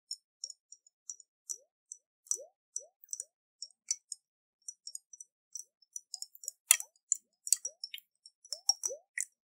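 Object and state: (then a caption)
Glass jar with water. Fingernails tap a round, hollow glass jar with a metal lid and water inside, held in the hands and tilted. It makes a steady run of quiet, sharp, bright clicks and ticks that stop almost instantly. Some taps come with short upward-gliding watery plops from the water moving inside.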